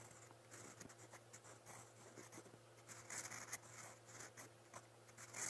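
A steel fountain pen nib, held in the fingers, scratches across a lined white paper notebook page while writing brown letters. The sound is dry, bright scratching in quick short strokes over a low steady hum, with a few louder scrapes near the end.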